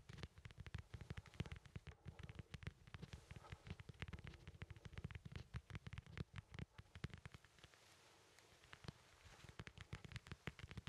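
A small, solid, whole fresh yellow lemon is held in the hand while fingertips scratch and tap its textured peel. The result is a dense, rapid run of soft clicks and scratchy ticks over a low, muffled rumble of handling, with a brief quieter stretch near the end.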